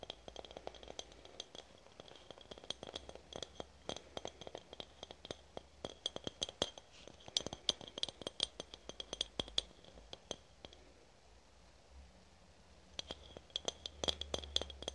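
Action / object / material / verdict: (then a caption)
tap / aluminium spray can tapped with fingernails / aluminium / none. A red aluminum spray can, held horizontally, is tapped on its metal body with long nails. Dense, rapid metallic clicks and clinks keep a bright ringing tone near 3.4 kHz, with each tap dying away almost at once. The tapping pauses briefly around the twelve-second mark, then resumes.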